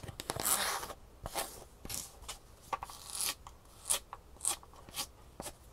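Fingernails scratch and rub the textured fabric top and the side edge of a green solid-foam shoe insole. The result is a series of dry, bright, scratchy bursts and short rasping strokes that stop abruptly, with almost no low end and quiet pauses between them.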